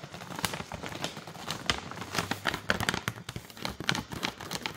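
Long nails scratch and crinkle the front and back of a full plastic granola pouch. A dense run of quick, bright crinkles and scratchy ticks is heard, with sharp crackling peaks over a soft rustling bed.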